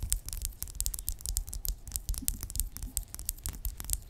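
Long acrylic nails tap and scratch a small, filled pink plastic lip gloss tube with a red cap lying flat. A quick, uneven run of short, crisp clicks and scratchy strokes sounds, each with bright high clicks over a soft low thump that dies away almost at once.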